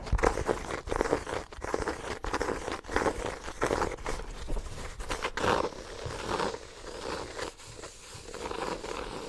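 A small, solid, ornate embossed hardcover notebook is held close to the microphone while fingertips and nails scratch and tap its cover. Dry, crinkly scratching comes in uneven bursts, broken by quick taps that die away almost at once. The sound is mostly mid-range with little high brightness.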